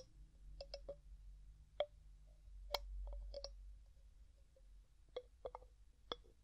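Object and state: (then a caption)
Glass jar with metal lid. Fingertips and nails tap and twist the gold metal screw lid of a medium, clear glass jar that is hollow and mostly empty. A series of quiet, sharp clicks and taps with a short ringing tone around 570 Hz and bright high edges comes out irregularly, separated by soft twisting rustle. Each tap dies away almost instantly.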